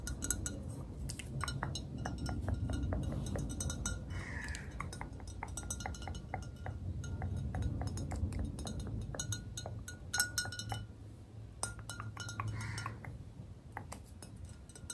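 Long red nails tap rapidly and unevenly on the side of a tall clear glass bottle partly filled with liquid. Each tap makes a short, bright clink with a brief glassy ring near 1.5 kHz. A steady low rumble runs underneath.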